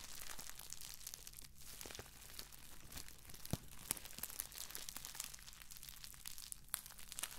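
A crumpled sheet of clear plastic bubble wrap is squeezed, scratched and crinkled by fingers with long acrylic nails. Dense crackling and crinkling runs throughout, punctuated by sharp pops as bubbles burst.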